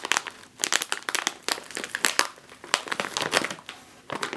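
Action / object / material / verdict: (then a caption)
scrape / foil-lined plastic chip bag / plastic film / none. Long nails and fingertips press and squeeze a full, sealed, foil-lined plastic chip bag resting on a table. They make dense, bright crinkling and crackling bursts with no low end, in short clusters separated by brief quiet gaps.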